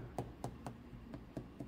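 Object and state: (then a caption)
Thick spot on unfired clay platter (flat sound). Six taps on a thick spot of a leather-hard, unfired clay platter give dull, flat knocks with very short ring and low-pitched body. The flat sound means there is more clay there and the wall is thicker.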